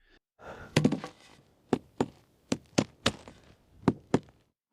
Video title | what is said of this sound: Est-ce possible de construire une maison troglodyte en plein désert ? | Quand on le frappe contre la roche, ça sonne presque creux.